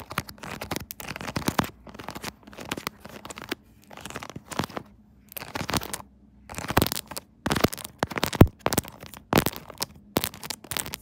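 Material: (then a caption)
Silicone. Long nails tap and scratch the pop-it bubbles and body of a hot pink silicone pop-it phone case on a phone mounted on a tripod. Bursts of quick, dry, crinkly taps and scratches come in short clusters separated by brief pauses, with a faint low hum underneath.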